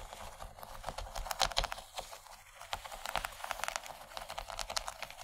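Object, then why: Plastic tray. Long nails on both hands tap rapidly on a large, empty yellow plastic tray. The result is a stream of dry, clicky ticks with a bright edge and almost no ring. The tapping eases briefly around the middle before picking up again.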